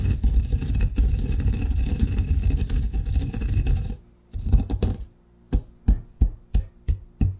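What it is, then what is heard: Coffee grounds ground in a granite mortar. A granite pestle grinds coffee grounds in a granite mortar with a circular motion, making a steady, gritty, low rumbling scrape for about four seconds. After a brief pause there is a short burst of grinding, then six separate dull, low knocks of the stone pestle.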